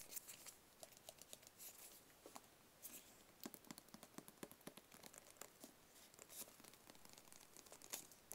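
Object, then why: Small rigid cardboard box. A small, hollow, rigid white cardboard product box is tapped with fingertips and nails close to the mic. Quick, dry clicks and scratchy taps come in an irregular patter over a faint hiss, with a crinkly, bright, papery edge. Each tap dies away almost at once.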